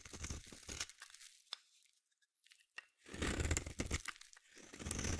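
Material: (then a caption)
Soap. A metal blade scrapes and carves a solid green bar of soap. Dense, crunchy, tearing scrapes with a low thump fill the first second, then fade to a near-silent gap broken by a few faint clicks. Heavier, sustained scraping returns from about three seconds to the end.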